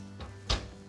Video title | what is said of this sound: Simply Good cheese scones | they just sound hollow underneath when you tap them